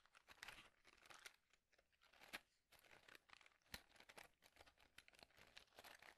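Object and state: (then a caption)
Cardboard matchbox tray. Fingertips tap and scratch the surface of a small, light, hollow white cardboard matchbox tray held in both hands. The result is a quiet, dry, crinkly scratching full of bright hiss, broken by short, sharp taps that die away almost instantly.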